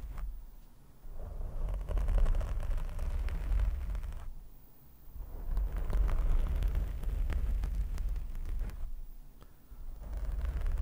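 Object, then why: Foam microphone windscreen. Both hands scratch and rub a soft, porous black foam windscreen over a handheld microphone with their fingertips and short nails. The result is a deep, muffled rumbling crackle with dense rapid scratches, nearly all of its energy in the low range. It comes in long waves that ease into brief quieter dips before building again.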